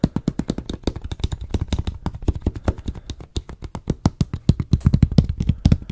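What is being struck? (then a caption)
Plastic water bottle. Fingertips and nails tap rapidly on a medium, hollow, clear plastic water bottle with a white label and cap, close to the mic. The run of short, dull, low-pitched taps has faint bright nail clicks and almost no ring. The taps shift between faster and slower bursts and grow louder toward the end.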